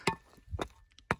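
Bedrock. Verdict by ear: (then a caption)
Soft. Bedrock is tapped in a few sharp knocks, each a short cracking thunk with little ring. The rock sounds soft and decomposed in these zones, deteriorated rock that splits apart easily and is worth breaking up for gold.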